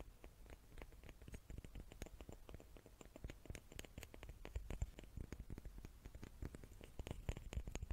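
Small wooden cubes are tapped with the fingertips in a quick, uneven stream of soft, dull knocks. Each tap is short and clipped with almost no ring, its energy sitting low, with a faint high tick on top and a quiet hiss underneath throughout.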